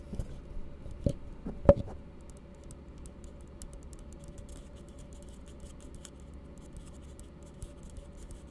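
An empty, hollow plastic cup is gripped in both hands while the palm and fingertips tap and rub its base and sides. A few sharp, hollow taps with a faint tonal ring come in the first two seconds, the loudest near 1.7 s. After that, soft low rubbing and scratching continue with scattered light ticks.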